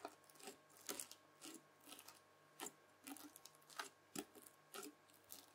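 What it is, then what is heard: Bubbly slime pressed with a fork. Red bubbly slime is pressed again and again with the tines of a white plastic fork, leaving rows of holes. Each press gives a short, bright, crackly squish of popping bubbles, with soft quiet gaps between presses.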